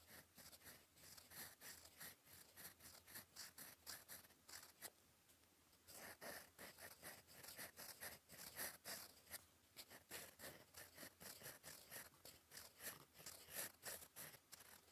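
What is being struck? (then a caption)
Metal fountain pen nib on a paper sheet. The gold metal nib of a fountain pen, held in the fingers, scratches across a flat sheet of cream lined paper on a desk while writing cursive. Quick, irregular bright scratching strokes follow one another, with a brief quieter pause a little before halfway before the writing resumes.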